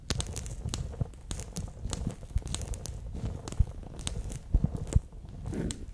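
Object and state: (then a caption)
Water-bead gel pack being squeezed. A bear-shaped clear PVC pouch full of water beads is squeezed in the hand, then laid flat and rubbed with fingertips and nails. The result is a steady stream of soft, sticky squelches, crinkles and crackles, with a dull, low-heavy body and occasional sharper taps and bright clicks that stop instantly.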